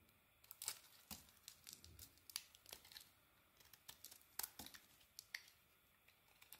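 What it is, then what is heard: Bar of soap being shaved. A solid rectangular yellow-orange bar of soap is held in the hand and shaved with a small metal blade, leaving crumbly shavings. The quiet, bright, crisp scrapes and crackles come as about 26 short, sharp cuts that die away almost at once. Between cuts there is only a faint hiss.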